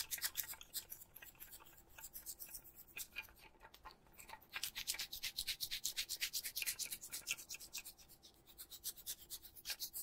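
An adhesive paper lint roller with a blue plastic handle and a white sticky paper roll is held close while a palm and fingers rub and pat across the adhesive roll. The result is a rapid, uneven run of short, bright, sticky rubbing and peeling sounds, with almost no low end and quick decays. A brief quieter gap falls near the middle of the clip.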